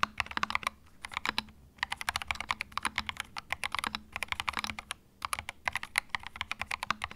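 Fingertips type on a small white 65% mechanical keyboard with plastic keycaps and a hollow plastic case, resting on a felt mat. Quick bursts of bright, crisp clicks and clacks come with almost no ring and little low end, with brief pauses near 1.8 and 5 seconds.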